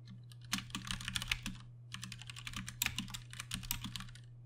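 Two hands type with their fingertips on a Ducky One 2 Mini, a 60% mechanical keyboard with Cherry MX Brown switches and plastic keycaps. Two bursts of quick, bright, clacky keystrokes are separated by a brief pause, over a steady low hum.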